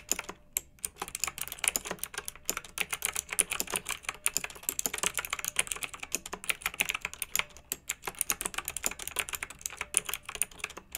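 Both hands type with fingertips and long nails on a pink backlit plastic mechanical keyboard with round typewriter-style keycaps. Bright, sharp clicks and clacks sound in a fast, steady stream with very short decay and almost no low end.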